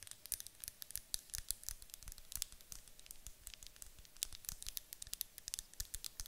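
Long acrylic nails tap fast on the sides of a medium white glass candle jar with a gold lid, apparently filled with wax. The taps are quiet, dry, bright clicks that stop at once, running in a rapid, uneven patter with a few louder accents.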